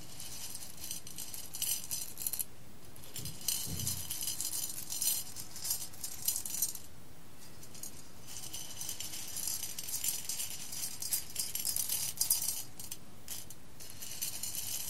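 Fingertips with long red nails rub, stir and spread roasted coffee beans over a clear glass bowl. The beans make a continuous bright, rattling clink and rustle that swells and fades in flurries, with a low thump near the fourth second.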